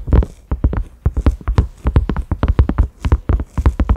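Fingertips and nails tap on a large round cream silicone lid with concentric ridges, a side handle loop and a grey knob, resting on a dark mat. A rapid, uneven run of soft, dull taps sounds, each a muffled low thump with a faint brighter click that dies away almost at once.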